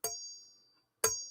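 A steel machete blade is struck twice and rings like a bell, each strike giving a bright metallic ding with a high, sustained tone. The first ring fades slowly over most of a second before the second strike rings out again.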